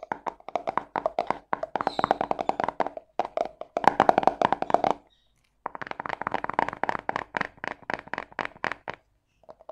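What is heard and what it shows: A small round yellow plastic cosmetic tub with a screw lid is held in hand and tapped and scratched quickly with long painted fingernails. Dozens of rapid, dry, clicky taps come in dense bursts with a hollow mid-pitched plastic tone and almost no ring, broken by a brief silence near the middle before the quick tapping resumes.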